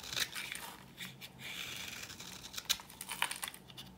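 A solid, dry cream-coloured bar soap held in the palm is scraped and cut with a metal blade into powdery shavings. The sound is quiet, dry and bright: a steady crumbly scraping with several sharper crisp cuts standing out.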